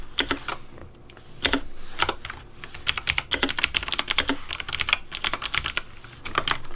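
Fingertips of both hands type fast on a pink Razer Deathadder V3 Pink plastic mechanical keyboard with RGB backlight and hollow plastic keycaps. Rapid, bright, clacky keystrokes come in uneven bursts with brief pauses. Each press has a short, hollow plastic snap with little ring.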